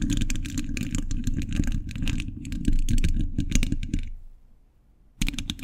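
Fingertips wearing metal thimbles rapidly tap and scratch the hollow, dome-shaped steel mesh grille of a large condenser microphone. The result is an irregular stream of bright metallic clicks and scrapes over a heavy, boomy low rumble. The sound fades to near silence just after four seconds, then the tapping bursts back in at the end.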